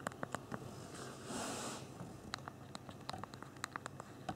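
A BlackBerry Q10 phone is held in both hands while thumbs type on its hard plastic physical keyboard. Sharp, short, bright clicks sound in an irregular run, with a brief soft rustling hiss partway through. The clicks continue unevenly at a quiet level.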